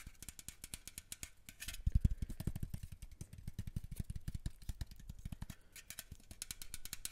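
Fingernails scratch along the slotted metal grille of a small black microphone held in one hand, producing a rapid, dense stream of scratchy clicks and rattling ticks. Each stroke lands as a deep, boomy thump with a bright, crisp edge. The scratching swells loudest around the second mark and then keeps up a steady, uneven rhythm to the end.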